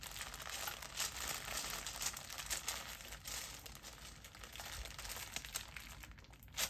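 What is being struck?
Zippered fabric pouch.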